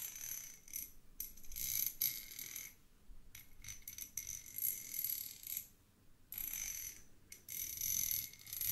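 Two small solid threaded steel screws are held in the fingertips, their threads rubbed and tapped against each other. Bright, high metallic scraping and clicking comes in bursts separated by brief quiet gaps, with only a short ring after each contact.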